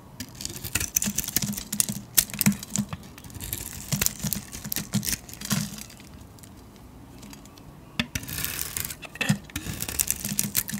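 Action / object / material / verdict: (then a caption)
scrape / painted soap bar shaved with a metal blade / soap / none. A metal blade shaves the embossed, glittery grey painted shell off a solid white soap bar held in the hand. Bursts of crisp, bright scraping and crackling flakes come in quick runs, with a quieter pause in the middle before the shaving resumes.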